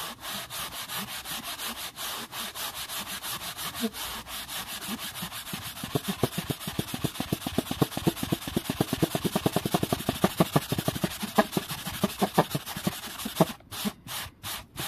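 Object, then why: Wooden board. A flat, solid, dark-grained wooden board is brushed fast and aggressively along the grain with a hand-held bristle brush. Dense, scratchy rubbing strokes repeat rapidly and turn sharper and more percussive through the middle. They break into a few short, separate swipes at the end.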